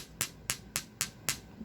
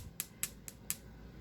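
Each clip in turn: First: mussel pearl that sounds like stone. Second: pearl that sounds like stone.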